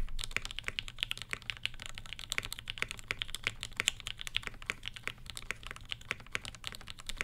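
Steady two-handed fingertip typing on a black Satisfaction 75 R1 mechanical keyboard with Gateron Ink switches with Tangie tops, an FR4 plate and ABS plastic keycaps. It produces a rapid, continuous stream of short, crisp clacks that peak around 3 kHz, with a bright, clicky top and a soft low thock beneath. Each keystroke dies away almost instantly.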